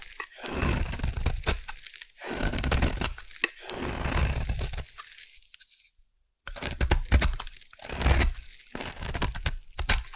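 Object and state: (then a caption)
Bar of soap being carved. A solid purple bar of soap, held in one hand, is carved into curled shavings with a metal blade. Bursts of dry, crunchy scraping and crisp crackling come in long strokes, with a near-silent pause around the middle before the carving resumes.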